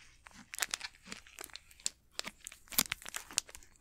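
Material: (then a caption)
Plastic. Fingertips crinkle and squeeze the plastic wrapper of an unopened Snickers candy bar. The result is a close, dry run of sharp crackles and crunchy rustles, mostly bright with almost no low end, rising and falling in irregular bursts with no ring after each.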